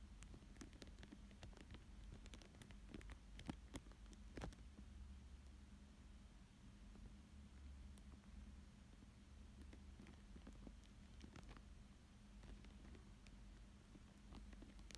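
A thin dark tool traces and scratches across a thin, clear plastic sheet lying flat over a paper drawing of a fish. Quiet, short scratchy ticks and soft crinkles come through a steady low hum.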